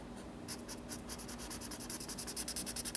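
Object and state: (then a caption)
Felt-tip marker on sketchbook paper. A felt-tip marker is moved by hand across the page of a large spiral-bound paper sketchbook lying flat on a wooden table, making inking strokes that rub and scratch the paper. Quiet, bright, scratchy strokes repeat in a quick, uneven rhythm and grow slightly louder and more frequent toward the end, over a faint low steady hum.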